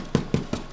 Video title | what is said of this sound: faire un grand pain rond | Si ça sonne creux, c'est cuit.